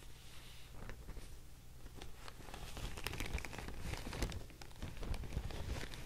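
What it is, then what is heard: Handmade paper sheet. A thin beige handmade paper sheet is held up and folded in both hands while long nails and fingertips crinkle, scratch and tap it. The clip is a quiet, close, continuous rustle of papery crinkles with bright scratchy flecks and soft taps over a low, muffled rumble.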